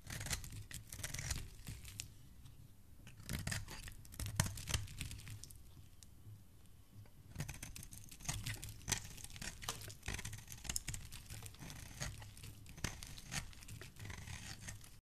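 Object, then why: Bar of soap. A flat metal blade repeatedly scrapes powdery curls off the face of a solid blue oval bar of soap held in the hand. The result is dense, dry, crackly scratching and tearing with bright, crisp highlights over a low rumble. Busy bursts of scraping are broken by a quieter stretch in the middle.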